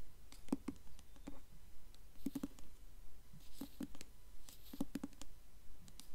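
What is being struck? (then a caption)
Hardcover book with paper dust jacket. Long nails tap quickly on the glossy, embossed paper dust jacket of a blue hardcover book held upright. The taps come in quick, uneven bursts of short, dry clicks, each with a soft low knock and a brief bright tick that dies away almost at once, over a faint steady hiss.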